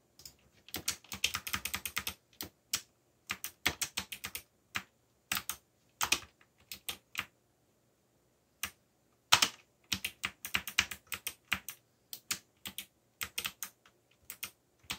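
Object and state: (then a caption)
Plastic mechanical keyboard. Fingertips type on a backlit mechanical computer keyboard with black plastic keycaps. Crisp, bright key clicks come in quick bursts separated by short pauses, each press dying away almost instantly with little low end.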